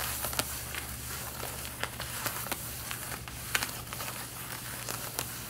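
Long red-painted nails and fingertips scratch and rub the front waist area of worn light blue denim jeans. Soft, bright scratching and crinkling textures are broken by short, sharp scraping accents, over a quiet, steady low hum.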